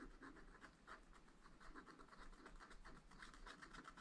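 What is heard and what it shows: A wooden stylus scratches lines into the lower right area of a black, wax-coated scratch art sheet in a flat spiral pad. The result is a quiet run of short, rhythmic scraping strokes with a dry, bright rasp over a steady low rumble.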